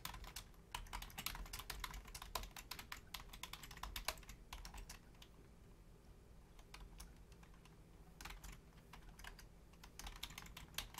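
Long painted nails and fingertips type on a full-size black plastic Logitech keyboard with low-profile keys, producing rapid, bright, clicky taps over a steady low background hum. The typing comes in dense bursts, eases into a quieter stretch in the middle, then picks back up toward the end.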